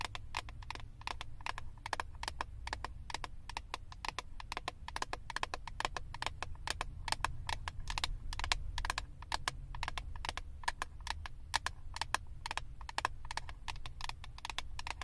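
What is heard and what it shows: Long acrylic nails tap and scratch the clear plastic lid of a flat eyeshadow palette. The result is a rapid, steady stream of short, dry clicks with a bright edge and almost no ring, over a constant low hum.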